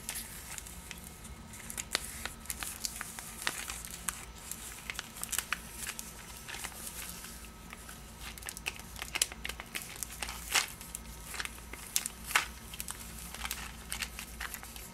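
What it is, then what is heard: Paper-wrapped cardboard box. A small rectangular cardboard candy box, wrapped in white printed paper with a sticker seal, is turned in the hands while long nails scratch and tap the paper wrapping. Soft, bright crinkling and scratchy rustling run throughout, broken by many quick, sharp ticks that die away almost instantly. A faint steady low hum sits underneath.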